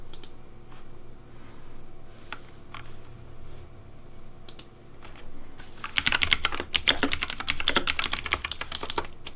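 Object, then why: Plastic mechanical keyboard. Fingertips type on the keycaps of a pink plastic Razer DeathAdder V3 Pink mechanical keyboard. For about six seconds there are only scattered, isolated bright clicks. Then a rapid, uneven run of sharp, bright clacks with a low thock beneath them continues to the end.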